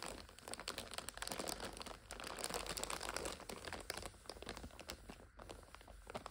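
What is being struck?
Plastic wrapper of an instant noodle multipack.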